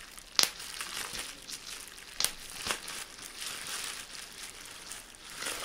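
Rolled clear plastic bubble wrap is crinkled while small air bubbles are pinched between fingers and thumb, giving three sharp, bright pops over a steady high, papery crackle. The pops are quick and dry with almost no ring and very little low end.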